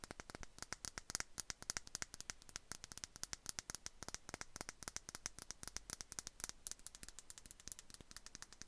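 A small clear glass perfume bottle with a bow cap, held in both hands, is tapped and scratched with long nails. A quick, steady stream of quiet, bright, dry clicks and ticks is heard, each dying away almost at once, with a soft scratchy hiss between them.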